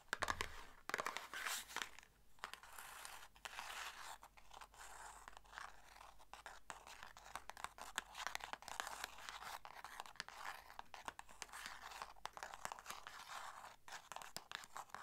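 Long nails tap and scratch the sides of a small, hollow red and white paperboard box held in both hands. A dense run of quick, dry clicks and bright scratchy rasps continues throughout, with crinkly crunches and a faint steady low hum underneath.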